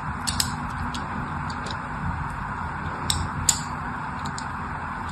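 A thin needle-like tool drags across a solid, palm-sized orange-and-white striped bar of soap held in one hand, scratching and scoring lines into it. Brief, sharp, high scratchy ticks stand out over a steady low background hum, with the loudest ones coming near the start and in the second half.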